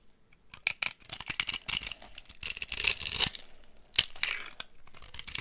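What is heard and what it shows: A box cutter blade carves chunks and flakes from the end of a solid, dry brown laundry soap bar held in one hand. Bright, crisp scraping and shaving sounds come in quick bursts, building into a dense run of carving before a single sharp cut near the end, followed by lighter scraping.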